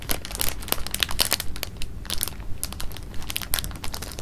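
An open, clear plastic bag of jelly beans is held in the hand while fingertips stir and rub the beans and crinkle the bag. The result is a steady run of bright, sharp crinkles and crunchy clicks over a soft low rumble.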